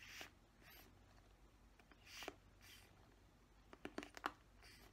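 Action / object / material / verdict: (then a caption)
scrape / plastic paddle hairbrush / plastic / none. Fingernails scratch across the plastic bristles of a black plastic paddle hairbrush. Quiet, dry, bright rasping swells come and go, ending in a cluster of sharper ticking scrapes over a faint low hum.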